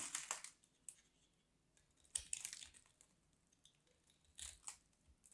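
A small craft knife carves a hand-sized, solid white bar of dry soap, and crumbly flakes fall off. Quiet, bright, crisp scraping and crunching bursts come in irregular clusters, separated by near-silence.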